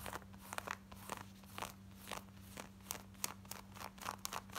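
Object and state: Denim shorts scratched with fingernails.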